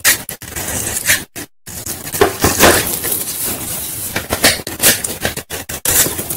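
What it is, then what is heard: Bar soap shaved with a knife. A metal knife blade is pulled across a leftover solid white Lifebuoy bar soap held in the fingers over a bowl, shaving off crumbly white powder and flakes. The clip is full of dry, bright, crunchy scraping strokes that come in bursts separated by brief silent pauses.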